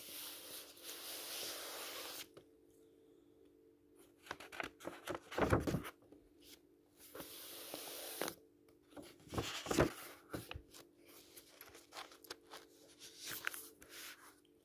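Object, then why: Paperback book with uncoated paper pages. Fingertips rub, stroke and turn the uncoated paper pages of an open paperback book lying flat. Steady, soft, bright papery hiss from the rubbing alternates with sharper crinkling rustles and flicks as pages turn, loudest around the middle and near the end. Quiet pauses separate the strokes, and a faint low hum sits underneath throughout.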